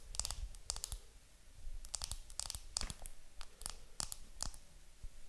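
Long nails tap and scratch the clear plastic film wrapped around a round makeup compact held in the hands. The result is a quick, irregular run of crisp, bright clicks with soft crinkly scratching between them, over a quiet low rumble. Each tap stops almost instantly, with no ring.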